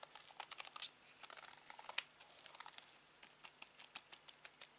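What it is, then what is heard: Plastic TV remote control. Fingertips tap and press the buttons of a black plastic Samsung TV remote held over fabric. A quiet, irregular run of sharp, bright plastic clicks and taps is heard, each dying away almost instantly. Faint rustling fills the gaps, with no low end.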